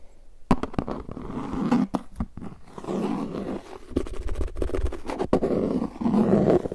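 Fingertips tap and rub the rim and face of a translucent plastic frisbee disc with a red rim while the hands hold and turn it. Dull rubbing forms a low, growling, roar-like rumble, broken by many short, sharp taps that die out almost at once, with little bright content.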